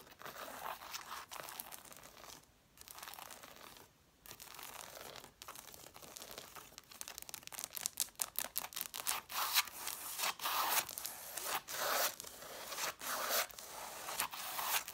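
Long nails scratch and tap along the page edges and covers of a solid, angled stack of red cloth-bound hardcover books with the page edges visible. Dry, bright rasping and papery scraping are broken by short dry ticks. The strokes come faster and more densely in the second half, with no low end.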